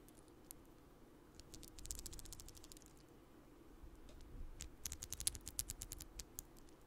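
A long strand of small purple plastic beads is held up and handled with fingers near the microphone, the beads rattling and clicking against each other. Quick, bright, dry clicks come in two irregular bursts, a short cluster early on and a denser run toward the end, over a quiet low background hum.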